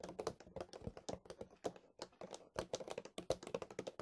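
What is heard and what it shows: A large white plastic milk bottle is held sideways and tapped and scratched along its body with fingertips and nails. About 29 quick, irregular, dry taps sound hollow and mid-pitched, near 500 Hz, with almost no ring, mixed with bright scratchy brushes between them. It comes across as quiet, close, keyboard-like clicking.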